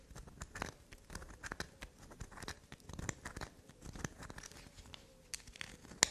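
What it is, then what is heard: Black soap bar being scratched. A solid black soap bar with a grooved surface is held in the fingers and scratched and scraped with long black nails. A quick series of dry, crackly scratches and short scrapes is heard, mostly bright and papery with little low end. A sharper click stands out near the end.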